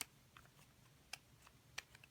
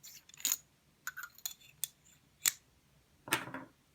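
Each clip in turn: First: plastic pen body, light plastic sound. Second: aluminium pen body.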